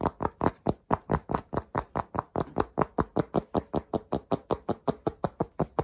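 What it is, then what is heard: Cotton cap. Fingertips tap and scratch the crown and brim of a black soft cotton Polo cap with a red logo, held in the hands. About 30 quick, dull taps sound in a fast, slightly uneven rhythm, each short and muffled with a soft mid-range thump and almost no high end.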